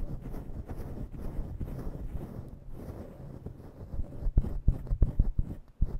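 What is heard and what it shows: Long nails scratch and pinch a grey and black synthetic-fur microphone windscreen, making a deep, muffled rustling rumble. The steady scratching in the first four seconds gives way to sharper, louder thumping bursts toward the end, all low and dull with no brightness.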